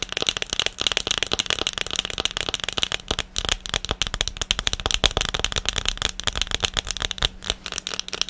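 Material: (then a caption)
Silicone. An empty blue silicone ice cube tray with hollow cells is held up and tapped fast on its underside with long painted nails. The result is a dense, continuous stream of quick, dry, bright clicks that stop almost instantly, with a steady, crackly rattle running through all eight seconds.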